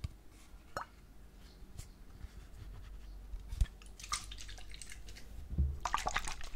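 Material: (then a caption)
Plastic. A white plastic shampoo bottle, possibly with some liquid inside, is held horizontally and turned while its side and cap end are tapped and scratched with fingernails. Soft, quiet taps with low thuds and drip-like plops are broken up by brighter scratchy bursts. The scratching is loudest near the middle and toward the end.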